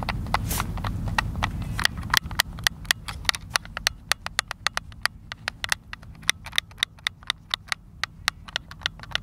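Thumbs rapidly press and click the buttons of a white, hand-sized, hollow plastic Xbox controller held in the hands outdoors. A fast stream of sharp, bright, dry clicks stops instantly with no ring. A low rumbling background is strongest at the start and fades as the clicking continues.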